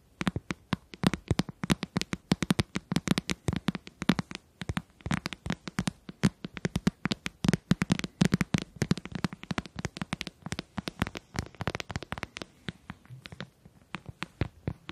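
Fingertips and nails tap and click rapidly on the casing of a closed, hollow white plastic handheld game console held in both hands. The result is a dense, continuous run of short, dry clicks and hollow knocks with a low resonant body, each dying away almost instantly.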